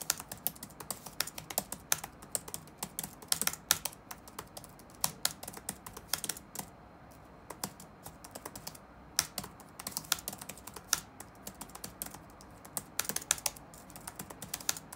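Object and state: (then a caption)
Plastic laptop keyboard. Fingertips type on the black plastic keycaps of a dark laptop resting on a wooden desk. The result is a steady stream of quick, bright, clicky taps with almost no low end, each dying away almost instantly, broken by brief pauses.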